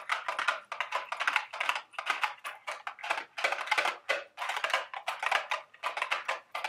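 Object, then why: Small cardboard candy box. A small, hollow, printed milk-carton-shaped cardboard Dubble Bubble gum Easter eggs candy box is held in the hands and tapped and scratched with long, sharp acrylic nails. Rapid, dry, clicky taps and scratchy rustles come in quick bursts with short pauses, bright and papery with no low end. Each tap dies away almost at once.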